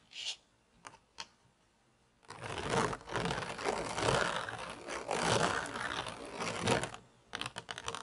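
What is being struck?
Plastic toy pizza tray.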